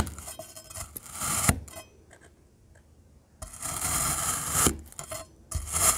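A rainbow metal knife cuts and crumbles solid black glittery kinetic sand cylinders with bright, rasping slices. A burst of gritty scraping is followed by a near-silent pause, then two more stretches of crisp, sandy rasping.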